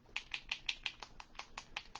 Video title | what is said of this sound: Painting Flesh Tones Part 1 | you can hear my little BB I put in there